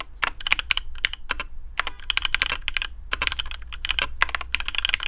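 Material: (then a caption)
PBT plastic. Fingertips of both hands type quickly on a black custom AARU mechanical keyboard with TTC Speed Silver switches, PBT plastic keycaps, a carbon fibre plate and a hollow case. The result is a dense stream of short, bright clacks with no ring, peaking around 2.4 kHz, over a faint steady low hum.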